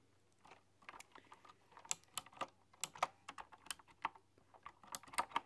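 Fingertips with long, dark-polished nails type on a full-size computer keyboard with a dark body and hollow, round typewriter-style keycaps with chrome rims. The quiet, irregular run of quick taps gives sharp, bright clicks with a hard nail-tick edge and almost no ring.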